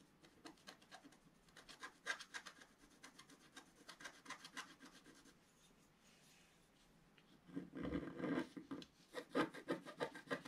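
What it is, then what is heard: Scratch art paper being scratched. A wooden stylus scratches the black coating on a flat page of wax-coated scratch art paper, revealing the color underneath. Quick, quiet, irregular scratching strokes repeat for the first few seconds, then pause briefly. They return as a louder, denser raspy scrape near the end.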